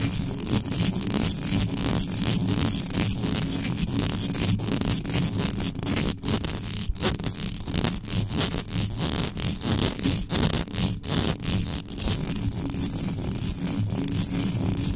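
Long yellow nails scratch fast across the top of the mesh grille of a black metal USB microphone with no cover on it. The result is a dense, continuous rasping and crackling with a heavy low-end rumble, bright scratchy edges, and short sharp bursts throughout.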